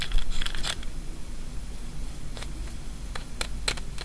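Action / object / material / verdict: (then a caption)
tap / wafer candy ball / wafer / none. Long fingernails tap and scratch the surface of a single small, white, hollow wafer ball, a kamifusen sweet filled with jelly, held in the fingers. Crisp, bright ticks come in a quick flurry at the start, then sparser taps later, with faint scratching over a steady low hum.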